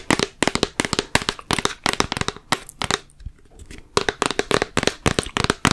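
Long fingernails tap rapidly on the label and sides of a large, full plastic Peter Pan peanut butter jar with a yellow lid. About 28 short, dry, bright clicks come in quick bursts, with a brief quieter pause in the middle. Each tap dies away almost instantly.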